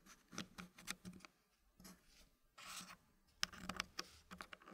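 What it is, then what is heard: Wooden puzzle pieces sliding in a wooden tray. Fingertips push and slide small, solid dark-brown wooden puzzle pieces into a green-painted wooden frame, the pieces tapping and scraping against the tray and each other. It's a quiet run of bright, dry wooden clicks and short scrapes with no ring, plus one longer scraping slide midway through.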